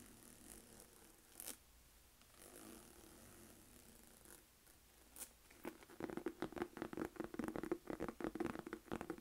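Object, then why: Textured leather crossbody purse tapped with long nails. Long acrylic nails tap and scratch across the front of a medium-size, hollow black saffiano textured-leather Michael Kors crossbody purse with a gold zipper. Soft, quiet scratching and a few sharp brushing swipes come first, then a quick, irregular run of dry, close taps fills the last three seconds.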